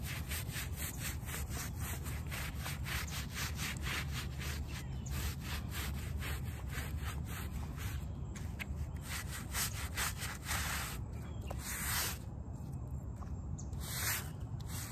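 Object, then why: Shag-pile fabric doormat scrubbed with a plastic brush. A plastic hand brush scrubs back and forth over a small, very muddy rectangular shag-pile fabric doormat lying on wet asphalt and covered in soapy blue foam, while the other hand's fingertips press on the pile. The result is a steady, rhythmic, wet rubbing sound with a constant low rumble underneath and bright, bristly swishes on each stroke.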